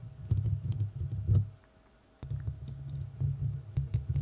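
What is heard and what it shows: Long red nails of both hands scratch and tap the rounded, hollow metal mesh grille of a large studio microphone. The result is dense, boomy low thumping with short, bright clicks and rustling scratches. The sound stops for about half a second of near-silence, then resumes with a sharp tap.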